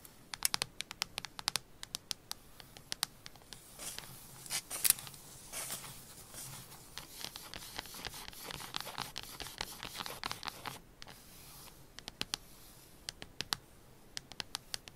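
Long pink acrylic nails tap and scratch the surface of a solid rectangular chocolate bar lying flat in crinkled, unwrapped aluminium foil, brushing the foil edges. The clip is full of sharp, bright clicks and scratchy, crinkly rustling. A denser stretch of scraping runs through the middle before the tapping thins out toward the end.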